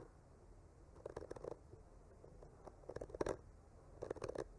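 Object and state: Painted wooden panel being scratched.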